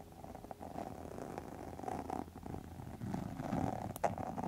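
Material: Faux leather.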